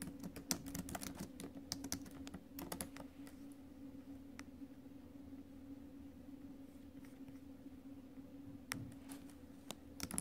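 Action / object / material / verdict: tap / laptop keyboard, plastic keys in a metal body / plastic / none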